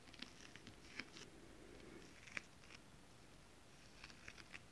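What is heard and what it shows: Long nail tips tap with both hands on flat holographic mermaid-scale printed fabric. The quiet, bright, crisp clicks come in an irregular scatter, with a few sharper taps standing out over a soft, steady low rustle.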